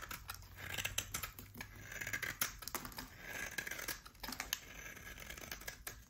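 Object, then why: Bar of hard soap. A utility knife blade shaves thin curls from a solid oval bar of hard soap with a black coating and a pale core. The result is a rapid series of crisp, bright scraping rasps with quick, dry attacks and almost no ring, over a faint low hum.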